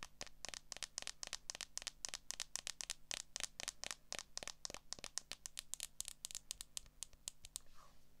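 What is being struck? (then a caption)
Smartphone in a plastic case. Long nails rapidly tap and scratch the back of a solid smartphone in a clear plastic case held in both hands, producing a quick, steady series of sharp, bright clicks with crisp scratchy edges that stop instantly. A faint low hum sits underneath, and the taps end with a soft brushing scrape.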